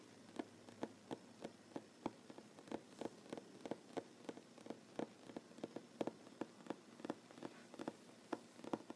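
A solid wooden tabletop is tapped with the short fingernails of one hand, giving 27 quiet, dry clicks at a steady, slightly uneven pace. Each tap is a brief knock centered in the low-mid range with a faint bright edge and almost no ring, over a soft hiss.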